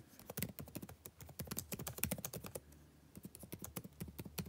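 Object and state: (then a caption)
Plastic laptop keyboard. Fingertips type on a backlit laptop keyboard with plastic keys, giving about two dozen quick, light plastic taps. The taps come in dense bursts with a short lull near the three-second mark. Each tap is a dry click with a soft low thump and a brief bright edge that dies away almost instantly.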